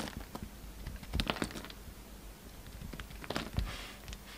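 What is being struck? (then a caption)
Soap bar cut with a knife. A yellow utility knife carves and scrapes a solid pink soap bar with a white edge, held in the hand. Quiet, dry scraping runs throughout, broken by short crisp clicks and crackly slicing bursts with bright edges over a soft low rumble. The loudest cuts come in clusters near the middle and toward the end.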